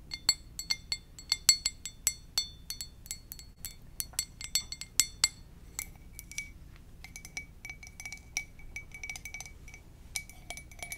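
An empty, hollow white ceramic coffee mug with a lips print is held in both hands and tapped with long dark nails. The result is a quick series of bright, glassy clinks with short high rings. Louder taps come early, and softer, lower-ringing taps follow later.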